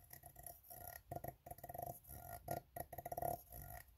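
Fingertips tap an empty, open, hollow ribbed steel tin can while nails scratch along its ribbed side. Bursts of quick, hollow metallic taps with a short ring around 720 Hz alternate with stretches of raspy ridged scraping.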